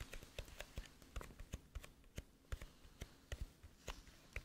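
A flat, hollow gold-green metal tin with an embossed teddy bear lid, held up and tapped and scratched with long nails on the lid. About 19 quick, dry taps sound with a low, hollow body and short bright clicks, with faint scratching between them.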